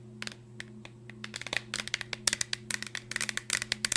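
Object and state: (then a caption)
Cardboard chip canister. Long nails tap and scratch quickly on a green Pringles tube, a hollow cardboard cylinder with a plastic lid, held up in the air. A rapid, uneven run of bright, crisp clicks and scratchy rasps dies away instantly, over a faint steady low hum.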